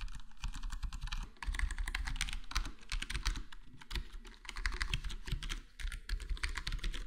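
A full-size black plastic HyperX Alloy Core gaming keyboard with square plastic keycaps and a foam-modded, foam-dampened case is typed on with the fingertips of both hands. Rapid, continuous key taps sound soft and muffled, with a deep low thump and a bright clicky edge. Brief pauses break up the flowing typing.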